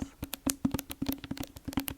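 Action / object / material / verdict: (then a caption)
tap / hardcover book with plastic cover / cardboard / none. Fingers tap up and down the spine and cover of a hardcover library book with a sticky plastic cover. About a dozen quick, dry taps, each with a hollow knock around 270 Hz that dies away almost instantly, sound in an uneven rhythm.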